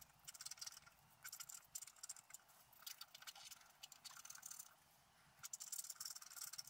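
A wooden stylus scratches the coating of a flat black scratch-art paper sheet on a table. Bright, dry scratching comes in quick repeated bursts of strokes, with a short quiet pause before a final busy run of scratches.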